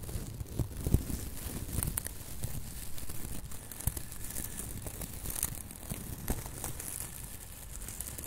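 A hand-sized, airy silver metallic foil (plastic) tinsel Christmas ornament with loose strands is held, squeezed and rubbed with fingertips. It gives a steady crinkling, with sharp, bright crackles over a dull low rustle.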